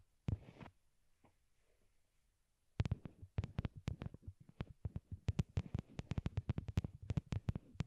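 A pair of small white hollow plastic wired Apple earbuds, used as the microphones and resting on a cork board, is tapped with long glittery nails. One sharp tap and a faint one are followed by a pause, then a fast, uneven run of taps fills the rest of the clip. Each tap is a short, dull, low thump with a quick bright click at the start and almost no ring.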